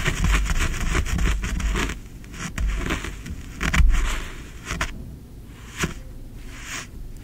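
Fingertips scratch and rake through green kinetic sand in a tray, making bursts of dry, crackly scraping with a deep low rumble beneath. The strokes come in uneven clusters, loudest around the middle, then thin out into quieter, softer rasps toward the end.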